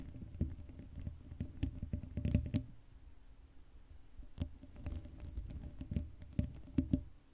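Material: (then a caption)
Metal mesh. Long acrylic nails scratch the hollow black metal mesh grille of an uncovered Blue Yeti microphone. The result is a dense run of soft, low, thumpy scrapes and taps with faint brighter ticks, quieter for a stretch in the middle before picking up again.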